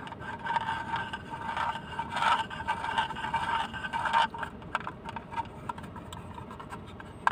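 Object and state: Plastic case.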